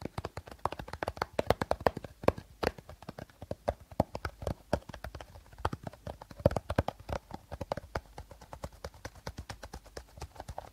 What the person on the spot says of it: tapping, scratching and rustling sounds are made during playing by short nails with a plastic bottle